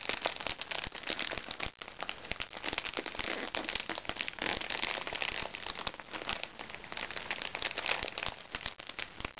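Painted nails scratch and pinch the plastic wrapping of a flat, crinkly plastic package held upright. The result is a steady stream of bright, dense crinkles and sharp crackles with almost no low end, each snap dying away almost instantly.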